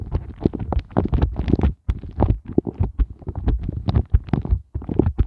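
Flat fingers with glittery nails tap and rub rapidly over the heart bumps of an empty, inverted pink silicone heart ice cube mold. The result is a dense run of soft, muffled, low thumping taps and rubbery rubbing with almost no bright content, broken by brief pauses near 1.8 and 4.6 seconds.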